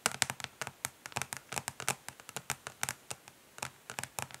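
Long nails from both hands tap quickly across the underside of a flat plastic eyeshadow palette, a hollow case of dark translucent ridged plastic. About two dozen sharp, bright clicks land in an uneven rhythm, each dying away almost instantly with little low-end body.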